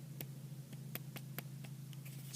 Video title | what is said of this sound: DC Collectibles New Batman Adventures Etrigan & Clarion Review | he's a hollow chunk I mean if you hear it it's Hollow so not cheap hollow but it's hollow